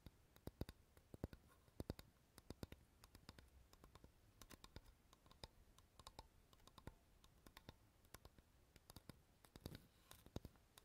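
A flat, rectangular, solid light wooden board, held upright behind the recorder, is tapped with fingernails. The result is a quiet, irregular stream of many sharp, dry clicks with almost no ring, some taps louder than others, over a faint low background hum.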